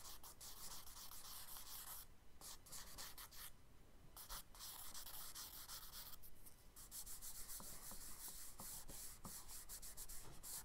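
A thin charcoal stick makes quick, scratchy hatching strokes across a page of a spiral-bound brown kraft paper sketchbook lying flat, with some finger rubbing on the paper. The dry, bright scratching runs almost continuously, broken by a few brief pauses between bursts of strokes.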